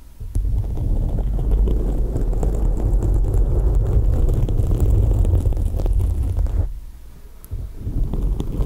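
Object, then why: Foam microphone windscreen. Long acrylic nails scratch and rub a soft, porous black foam windscreen covering a microphone head from both sides. The result is a deep, muffled rumbling with a dense crackly texture, almost all in the low range. It runs steadily for several seconds, dips quieter for about a second, then resumes.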